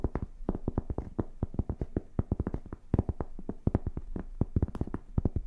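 Long painted fingernails scratch and tap on a flat, solid rectangular cork board held up off any surface. A rapid, uneven run of dull, soft taps follows, with very short decays and mostly low, muffled tone, mixed with faint scratching between the hits.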